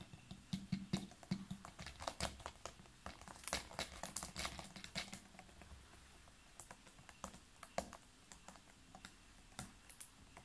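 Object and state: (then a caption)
Plastic water bottle, full. Fingernails tap on the sides and upper part of a large clear ridged PET water bottle that is full of water and has a blue cap. The taps are quick, irregular and clicky, with bright crisp ticks over a soft, low hollow thud. They come in a dense flurry for the first five seconds, then turn sparser and quieter.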